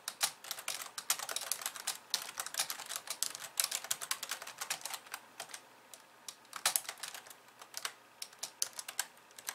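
Long polished nails type rapidly with both hands on a compact pink and white plastic keyboard resting on a wooden desk. The result is a dense stream of sharp, bright plastic key clicks with almost no low end, thinning into sparser, slower taps for a stretch before quickening again.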